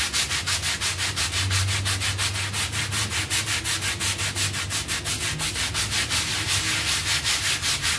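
A bristle hand brush scrubs back and forth over a soapy, foamy half-round textile pile rug lying on a tiled floor. It makes a steady, rhythmic run of bright, scratchy swishes, about three strokes per second, over a faint low hum.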